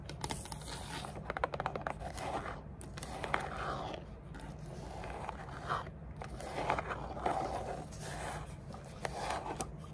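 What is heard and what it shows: Long dark nails scratch and tap the sides and lid seam of a small, hollow, dark grey rigid cardboard gift box with a textured finish. Soft, continuous scraping is broken by quick, sharp taps that die away almost at once, over a steady low rumble.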